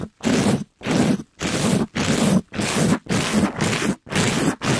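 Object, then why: Mesh-covered foam scrub sponge. A soft, compressible pink glitter mesh scrub sponge, held in a gloved hand, is rubbed quickly across the top and side of a microphone. Nine rough, scratchy strokes are heard, each separated by a brief silence. They carry a full low-mid rasp with hissy high texture.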